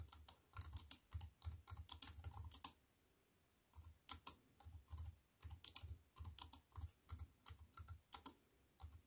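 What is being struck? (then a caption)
Aluminium-framed keyboard with plastic keys. Fingertips with long white-painted nails type on a slim wireless keyboard with a silver aluminium frame and black plastic chiclet keys resting on a wooden table. Quick, crisp key clicks with soft low thumps come in rapid bursts, with a brief quiet pause partway through before the typing resumes.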